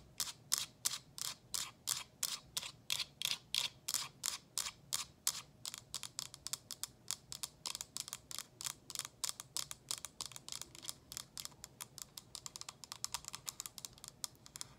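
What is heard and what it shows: Long acrylic nails tap and lightly scratch around the sides of a small, hollow, frosted plastic diffuser water tank. Crisp, bright, very short clicks start as a steady, evenly spaced tapping, then speed up into a denser, quicker patter that fades a little toward the end, with almost no low end or ring.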